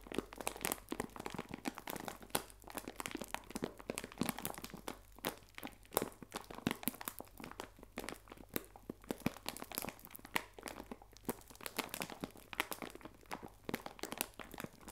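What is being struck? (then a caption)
Plastic bag of biscuits. A clear plastic bag full of biscuits is squeezed and crinkled in both hands. It makes a steady run of dense, dry crackles and crunchy crinkles that spread bright across the range, with sharp brief snaps. A faint low hum sits underneath throughout.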